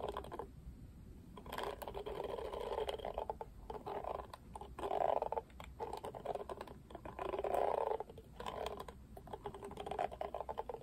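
Fingertips and nails flick the dense black, pink-tipped bristles of a pink-rimmed oval plastic cushion hairbrush, a Barbie brush. The result is a continuous stream of quick, dry plastic ticks and soft rustling that swells and fades in waves, centered in the midrange with almost no deep or bright content.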